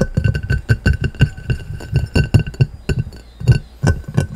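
A clear round glass plate lying upside down is tapped and scratched with fingertips and short nails in a fast, uneven run of taps. Each tap is a short, dull knock with very little ring, topped by faint glassy clinks and a light scratching texture.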